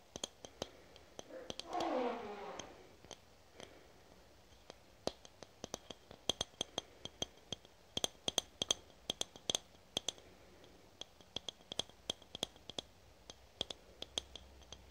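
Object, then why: Aluminum spray can. A handheld, hollow red aluminum foam/spray can with a clear plastic cap is tapped with long nails along its body, producing dozens of quick, sharp clicks that ring briefly with a bright metallic tone around 3.2 kHz. Early on, a louder, brief rushing swish sweeps down in pitch before the irregular tapping continues against a quiet background.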